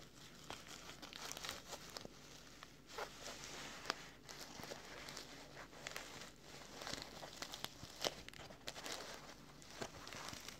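Fingertips and short nails scratch and rub along the flap edge and fabric surface of a small, soft, closed black woven nylon K&F Concept filter pouch with a flap. The result is quiet, bright, dry scratching and crinkling in uneven bursts, with short, sharp scrapes that stop almost instantly and little low-end weight.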